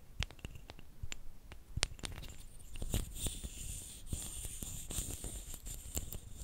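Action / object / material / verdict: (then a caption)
scrape / two thin flat wooden sticks / wood / none. Two thin, flat, light wooden sticks, solid and about hand length, are rubbed against each other. A dry, scratchy friction is punctuated by short, sharp clicks, with a faint bright hiss toward the end.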